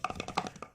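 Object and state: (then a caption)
Small box with a toy inside (not empty). A small box holding a mini female ondel-ondel figure is shaken, giving five quick, light knocking rattles as the toy shifts inside. The box is confirmed not to be empty.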